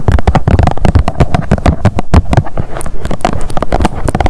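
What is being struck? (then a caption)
Plastic sunscreen tube. Long nails tap rapidly on a blue plastic sunscreen tube lying on a mat. The result is a quick, steady stream of dull, low-heavy knocks, each with a brief bright click on top and almost no ring.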